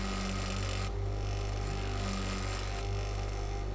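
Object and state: Nothing is struck.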